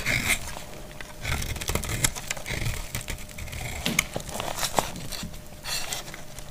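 A solid, dried light blue soap bar held in the hand is shaved and cut with a utility knife blade, producing dry, crackly scraping and crisp snapping sounds with bright, hissy edges. Brittle flakes fall away as the blade works through the bar in uneven bursts.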